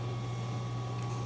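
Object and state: Nothing is struck.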